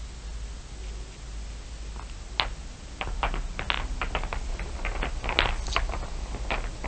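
Fingertips and long nails scratch and tap across the top of a heap of small solid glass marbles, dark shiny ones mixed with clear blue ones. After a quiet stretch with a steady low hum, a single sharp click rings out, then a loose, irregular flurry of bright, short glassy clicks and rattles follows to the end.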